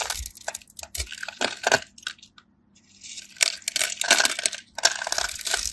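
A craft knife carves diagonal lines and cubes off the surface of a dry, solid cream soap bar held in the palm, cutting and scraping with the blade. The result is a run of bright, crisp crunching and scratching bursts with a short quiet pause midway, then more dense scraping.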